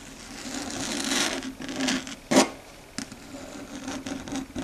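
Long red stiletto nails, curled down, scratch and rub across a flat, dark grey, matte solid chalkboard surface. Bright, raspy strokes rise and fade over a steady low hum near 260 Hz, with one sharp, louder scrape in the middle.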